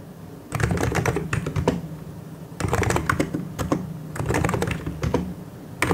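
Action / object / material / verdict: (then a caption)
tap / plastic mechanical keyboard / plastic / none. Both hands type continuously with their fingertips on a full-size plastic mechanical keyboard with white and grey plastic keycaps and hollow key switches. The result is a steady run of crisp, clacky key taps in bursts with a low, hollow thump beneath each press.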